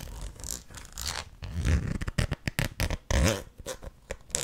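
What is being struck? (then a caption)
Plastic jar with plastic lid. Long nails scratch the ridged edge of a red plastic lid on a medium white plastic tub and tap its top. The result is a rapid run of raspy, zipper-like scrapes mixed with short, dull taps, each ending almost at once.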